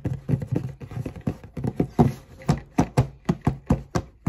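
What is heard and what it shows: Long nails tap and scratch the lid of a black cardboard Converse shoebox, making a quick, uneven run of dull, hollow taps with short bright scratchy edges that die away almost at once. At the end, the lid is lifted open.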